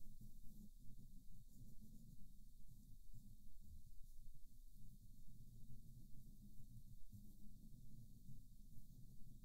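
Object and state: Nothing is struck.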